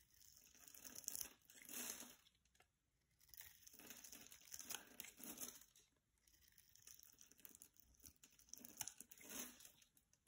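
A solid coral-orange bar of soap is held in the hand while a utility-knife blade scrapes and slices along its edge, cutting off crunchy shavings. Quiet, bright, crinkly crunching and scraping comes in repeated swells with brief pauses between strokes, with almost no low end.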